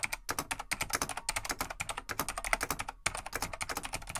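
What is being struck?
Plastic full-size mechanical keyboard.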